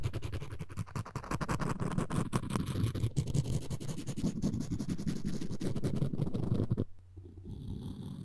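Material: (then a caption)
Wood. A floss string looped around a solid wooden spoon handle is rubbed back and forth, making a low, buzzing scratch with rapid, uneven strokes. The rubbing continues steadily for about seven seconds, then stops and leaves a quieter, faint hum.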